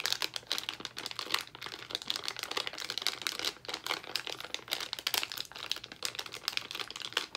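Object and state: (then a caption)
Crinkled plastic candy bag. A small, full white and pink Albanese plastic foil gummy candy bag is crinkled and squeezed with the fingertips of both hands. The result is a steady stream of dense, bright, crackling crinkles with rapid, short-lived snaps and almost no low end.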